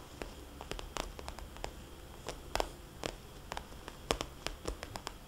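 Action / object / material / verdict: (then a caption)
tap / glossy plastic cosmetics bag / plastic / none. A small red glossy plastic cosmetics bag with white polka dots lies flat while long painted fingernails and fingertips of both hands tap and trace across it. Crisp, bright clicking taps land at an irregular pace, a few sharper and louder than the rest, over a soft, low rustling hiss.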